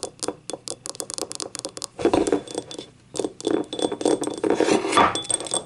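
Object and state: Ceramic cup tapped and scratched.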